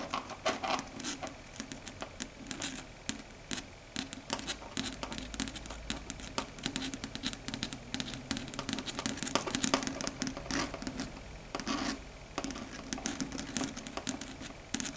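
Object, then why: Chalkboard surface tapped with long fingernails. Very long pointed red stiletto nails tap and click rapidly across a flat, solid dark grey chalkboard surface. The result is a dense, continuous patter of short, sharp, bright ticks and light scratches that die away almost instantly, over a faint steady low hum.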